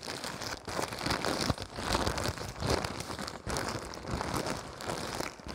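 Fingers crumple, unfold and crinkle a thin, clear-white printed plastic wrapper, making a dense, continuous crackling rustle with bright, high crinkles. The sound swells and eases in waves over the few seconds without clearly separate hits.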